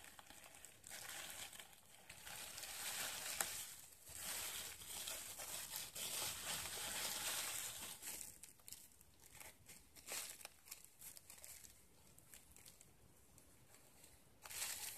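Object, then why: Plastic bubble wrap. A thin, flexible sheet of clear plastic bubble wrap with air-filled bubbles is crumpled, squeezed and rubbed into a bunch over a white table by hands in latex gloves. It gives a steady, bright crinkling and rustling that swells and fades without any popping.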